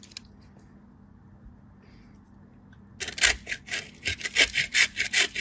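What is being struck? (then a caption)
Bar soap on a metal grater. A solid cream-white piece of bar soap, held in the fingertips, is rubbed against the perforated face of a small metal grater, with powdery shavings falling. After about three seconds of near silence, about nine rhythmic, bright, rasping scrapes follow in quick strokes until the end.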